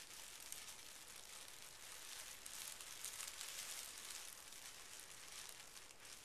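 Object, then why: Sheet of tissue paper. Hands smooth and rub a folded pink tissue paper sheet resting on carpet, using fingertips and short nails. The result is a steady, quiet, bright crinkling rustle, thick with high-frequency hiss, that swells slightly in the middle before easing off.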